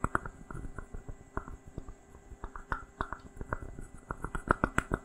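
A small, hollow, unglazed, dry terracotta pot made of stacked rounded sections is held close to a microphone and tapped and scratched with fingertips and nails. About nineteen quick, dry, hollow taps come at an irregular pace, each with a short clay ring and a soft low thump. Faint scratchy rustling fills the gaps between the taps.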